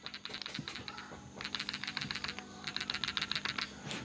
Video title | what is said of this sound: What Are the Rattling Sound From Galaxy S20 Ultra and How You Can Stop It? | now let's have a quick shake and you can hear the rattle noise